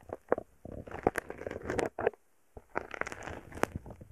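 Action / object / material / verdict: tap / foam bead slime poked with a wooden stick / foam beads / none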